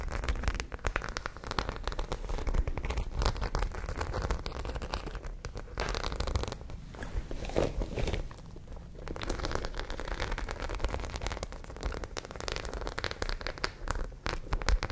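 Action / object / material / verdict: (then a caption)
scrape / zippered fabric pouch covered in small metal studs / fabric, metal studs / none. Long painted nails scratch and tap across a flat, roughly hand-sized white zippered fabric pouch covered in small dark and silver studs, held up close to the microphones. The result is a dense, continuous stream of quick, dry scratches and clicks with a soft, low rumbling undertone, at a steady, gentle level throughout.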